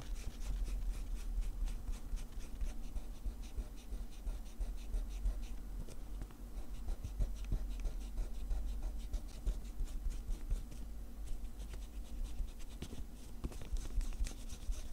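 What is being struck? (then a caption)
Paper notepad sheet with rubber eraser. A pencil's rubber eraser rubs back and forth across a small lined paper sheet from a spiral notepad lying on cloth. The result is a continuous soft, scratchy rubbing of quick, dry strokes over a steady low hum.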